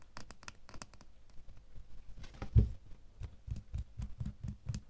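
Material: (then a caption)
Metal. A small, solid metal door key is held and then laid in an open palm, where a fingernail taps it over and over. The taps are soft, quick, dull and low with almost no ring; the early ones carry faint bright ticks, and the later ones become deeper, thuddier knocks.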